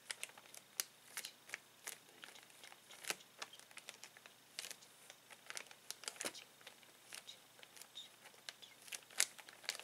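Fingertips and a palm rub and press a clear plastic zip bag full of colorful plastic toys resting on a table. The result is a quiet, continuous run of sharp, bright crinkles and crackles with almost no low end, each snap dying away almost instantly.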